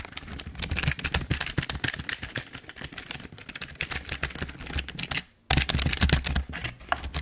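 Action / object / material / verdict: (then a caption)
tap / plastic computer keyboard / plastic / none. Fingertips type steadily on a full-size, hollow black plastic Logitech keyboard, producing a rapid, uneven stream of short clacky key presses with a hollow low thud under each stroke. The typing stops for a brief silent gap just after the five-second mark, then resumes at the same pace.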